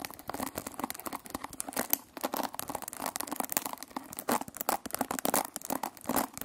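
A hand-sized oval hairbrush with a white plastic body and a cushion of metal pin bristles is scratched and plucked across the bristles with long nails. The result is a dense, fast stream of dry, crackly scratches and flicks, bright and high with almost no low end, each one short with no ring.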